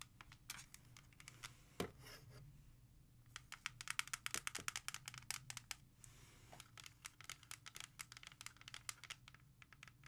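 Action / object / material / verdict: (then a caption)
tap / plastic CD jewel case / plastic / none. A music CD in a clear plastic jewel case, turned to its back, is tapped and traced with long nails. A rapid series of sharp, bright clicks and taps is heard, with soft scratching and scraping between them over a low background hum.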